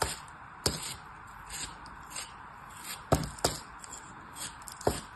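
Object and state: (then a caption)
Kinetic sand being cut. A small blade slices and scrapes pieces off a fist-sized, solid molded block of beige kinetic sand shaped like a turtle, held in the hand. Sharp, crisp cutting snaps stand out over a soft, steady gritty scraping hiss with a bright edge, spaced irregularly through the clip.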